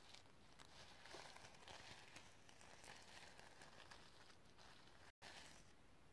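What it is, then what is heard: Sequin-covered notebook. Long nails scratch across the iridescent sequins of a sequin-covered notebook cover. The result is a steady, crinkly, crackling scrape with bright sparkle over a low rumble, and it cuts to silence for a moment near the end before resuming.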